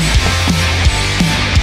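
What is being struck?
Nothing is struck.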